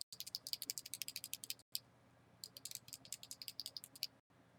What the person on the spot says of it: if you shake it you hear that little rattle